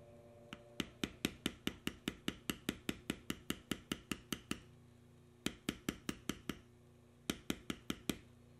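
A steel beveler stamp held in the fingers is tapped repeatedly into the carved swirl lines of a solid tan vegetable-tanned leather panel. About 31 short, sharp, dry taps come in three quick runs separated by brief pauses, each tap a bright click that dies almost instantly over a faint steady low hum.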